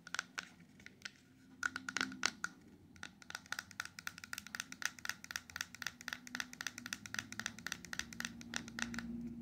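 A small, closed, silver-coated cardboard ring box, hollow with a ring inside, is held in the hand and rapidly tapped on its sides and edges with long acrylic nails. The result is a dense run of short, dry, bright clicks with a papery ring around 1.4 kHz and almost no decay, starting sparse and quickening into steady tapping over a faint low hum.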